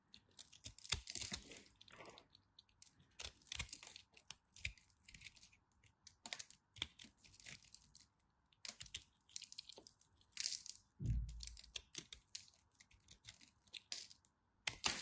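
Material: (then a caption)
Soap. A knife tip cuts into and crumbles a crumbly, solid chunk of cream dry soap. Quiet, crisp crackling and crunching bursts come in irregular clusters, mostly bright and short, over a faint steady hiss. A brief low thump sounds near the eleven-second mark.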